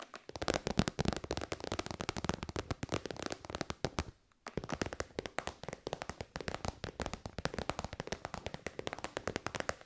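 Long white nails tap rapidly on the end and side of a hollow, shiny pink metallic faux-leather synthetic pouch. The result is a dense, steady stream of short, dry, crackling clicks with a brief pause near the 4-second mark.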